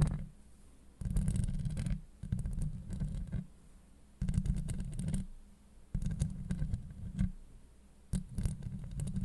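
Long light-blue acrylic nails on both hands scratch the hollow steel mesh grille of a Blue Yeti microphone. The result is deep, boomy, rumbling scratching centered low around 140 Hz, with faint crackly texture on top. It comes in five bursts separated by quieter pauses.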